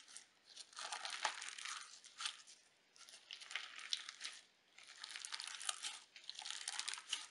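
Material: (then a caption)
Slime, sequins. Pale pink crunchy sequin slime is squeezed in the hands, then pressed flat on a table with fingertips and folded. It makes bursts of bright crinkling crunches separated by brief quiet pauses.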